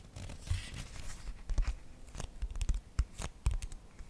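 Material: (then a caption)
Cardboard. A small children's board book of thick laminated cardboard, with a green and purple illustrated cover, is held close to the microphone while long nails scratch and tap its glossy surface. Dry, rough scratching strokes mix with short, sharp taps that carry a low thump and brief bright clicks, each dying away almost instantly.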